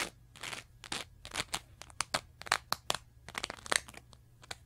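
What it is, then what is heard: Foam sponge scratched. Long nails scratch across the surface of a small teal foam sponge with a wavy, textured edge. A quick, irregular series of short, crisp, crunchy scratches is heard, bright and hissy with almost no low end. Each stroke stops dead with no ring.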